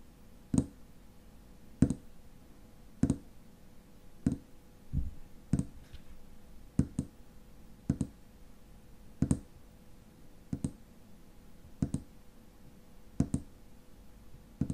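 Long fingernails tap the silver metal cap of a tall frosted glass lotion bottle, which is held steady at its base. Short, sharp clicking taps come at a steady pace of about one every 1.2 seconds, some doubled. Each tap has a low body near 250 Hz and a faint bright tick, and dies away almost at once over a quiet, steady hum.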